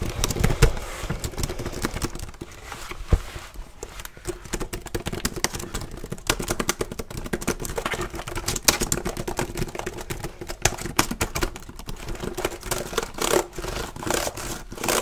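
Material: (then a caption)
Plastic. Fingertips type fast and hard on the plastic keys of a black plastic HP laptop held tilted. The result is a dense, continuous run of short, dry clicks and clacks with low thumps underneath, each key stroke dying out almost instantly.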